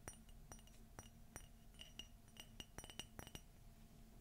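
A white glossy ceramic coffee mug with a gold Minnie silhouette, hollow and empty, is tapped and scratched with fingernails. The result is a quick, irregular series of bright clinks with a short ring near 2.9 kHz, over a soft low hum.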